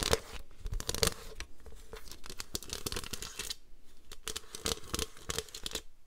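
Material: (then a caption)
Plastic. Long nails scratch and tap across the ribbed hollow underside and gridded top of a white plastic paper trimmer. Dense bursts of bright, dry scraping and quick clicky taps come in busy runs with brief lulls, carrying a faint hollow plastic tone.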